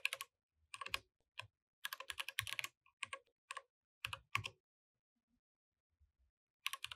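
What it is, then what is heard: Mechanical keyboard with plastic keycaps. Both hands type continuously with their fingertips on a compact mechanical keyboard with plastic keycaps, producing about 25 sharp, bright keystroke clicks. The clicks come in quick clusters separated by short silent pauses, with a brief lull near the end before a final burst. Each click is dry and dies away almost instantly.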